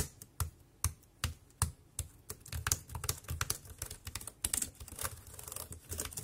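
Several fingertips type across the keys of a dark grey, compact plastic wireless keyboard. A few well-spaced taps come first, then the typing quickens into a dense, uneven run. Each key tap is a short, dry click with a low thump and a bright top, with almost no ring.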